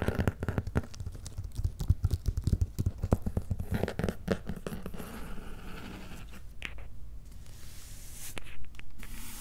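Fingertips tap and nails scratch across the top of a medium, closed, hollow corrugated cardboard shipping box with paper labels. Rapid, dull, low, irregular taps fill the first six seconds. Softer scratching and a few brighter scrapes follow toward the end.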